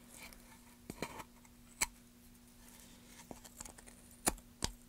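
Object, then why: Pine wood board. A metal gouge carves a solid light pine plank held in gloved hands, scraping and cutting the wood as shavings curl off. Sharp, bright snaps and crackly scrapes come in scattered bursts over a quiet, steady low hum, each dying away almost instantly.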